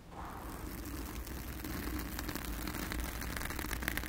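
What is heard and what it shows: Long acrylic nails on both hands scratch and rub a soft, porous round blue foam windscreen over a microphone. A steady, dense scratchy rustle with low rumbling body and faint bright crackles continues throughout.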